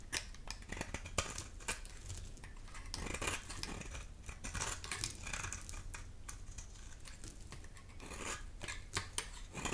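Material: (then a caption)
Soap. A palm-sized, dry, solid pink bar of soap is held in the hand and scraped with a black metal grater blade, and shavings peel off onto a pile of soap flakes. Many quick, dry scraping strokes are heard, with bright, crisp rasps over a low rumble.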